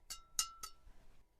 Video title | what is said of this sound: เอาไม้แบด Kawasaki Steel Rebar 138 ไปขึ้นเอ็นใหม่ 🏸😎 #แบดมินตัน #badminton #ไม้แบดมินตัน #kawasaki | เสียงใสยังกระเคราะเหล็ก